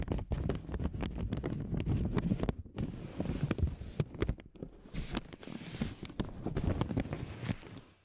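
A thin, palm-sized beige paper oil blotting sheet, held in both hands, is rubbed and folded with long nails and fingertips. It makes a steady crinkling rustle full of quick, dry crackles, mostly low and soft in tone with faint bright edges. There are a few brief quiet gaps along the way.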